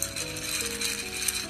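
A partly emptied bowl of dried kidney beans is shaken, and the loosened beans shift around, leaving their places and changing shape as a model of a liquid. A continuous bright, gritty rattle of beans sliding and clattering against each other and the bowl runs throughout, with a faint low hum underneath.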